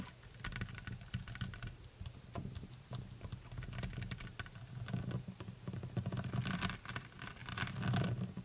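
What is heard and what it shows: Long white nails tap rapidly on the brown plastic cap and shoulders of a full plastic honey bottle. The result is a quiet, continuous patter of short, dry clicks with bright ticks over a steady low body, with a few louder bursts toward the end.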